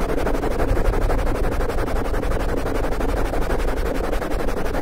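Open palms and fingers rub and scratch fast from both sides across a black foam windscreen on a condenser microphone. The result is a steady, dense, rapid scratching and rustling with a heavy low rumble throughout and very little bright content.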